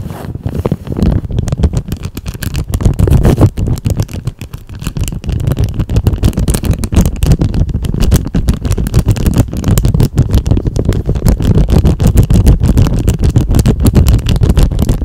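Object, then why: Thin clear plastic bag. A thin, clear, empty plastic cellophane bag is held in both hands and stretched and crinkled with fingers and nails. It makes a dense, continuous stream of rapid crackles and rustles with a heavy, muffled low end. The sound dips briefly and then builds into steady, fuller crinkling.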